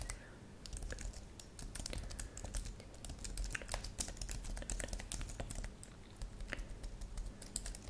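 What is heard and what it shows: A thin white-and-silver plastic computer keyboard with purple-lit keys is typed on rapidly with long manicured nails and fingertips. Quick, dense clicks and taps with bright, sharp attacks run continuously over a low steady hum.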